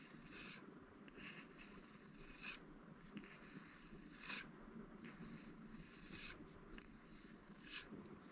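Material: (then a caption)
Bamboo. A flat, solid bamboo phone stand is held in one hand and tapped with the fingertips of the other hand. Six light, dry, bright taps come at uneven intervals, each dying away almost at once. A steady low background hiss runs underneath them.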